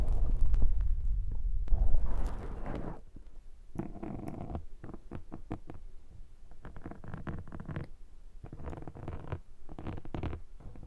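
Fingers scratch a black foam microphone windscreen, then a metal pick scrapes across the foam. A loud, deep rumbling rub fills the first few seconds, followed by quieter runs of short, bright scraping strokes over a low, muffled rumble.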